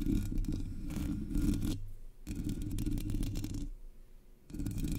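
Long polished nails scratch and tap across the hollow black metal mesh grille of a Blue Yeti microphone. The result is dense, rumbling, low-heavy scraping in three bursts, separated by brief quieter pauses.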